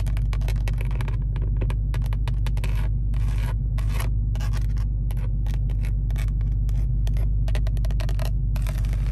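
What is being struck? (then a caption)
Plastic steering wheel airbag cover. Long acrylic nails rapidly tap and scratch on the large, hollow, textured plastic airbag cover with a chrome SRT badge at the centre hub of a Dodge Charger Hellcat steering wheel. Quick clicky taps and scrapes come in dense bursts over a steady, loud low hum around 62 Hz.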